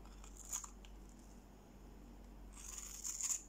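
A utility-knife blade scrapes a solid, dry green bar of soap held in the hand, shaving off crunchy curls and sticks. Bright, high scratchy scraping comes in a short burst near the start, then a longer, louder stretch toward the end, over a faint low hum.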